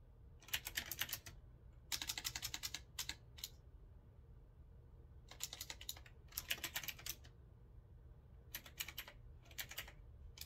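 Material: Metal, plastic.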